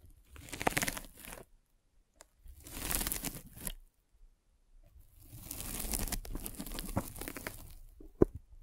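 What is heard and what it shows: A metal-spiked derma roller is rolled over a white polyethylene foam net sleeve fitted over a microphone, producing crinkly, tearing scratches. It comes in three passes separated by short silences: two brief strokes, then a longer steady roll that ends with a sharp click.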